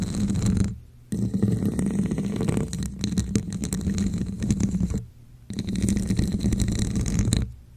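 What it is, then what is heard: Textured plastic cup scratched over a microphone. Long nails scratch the textured sides of a hollow red textured plastic cup set over the microphone. The scratching comes through as a dense, low, hollow rumble with a steady hum-like tone, in three long passages separated by two brief pauses.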